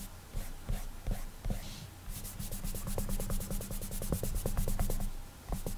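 Clammy fingertips rub across the glass touchscreen of an iPad while coloring, slightly sticking to the glass as they move. The result is a quick, uneven run of soft, dry rubbing strokes with faint squeaky catches and bright hissy edges over a low, muffled body.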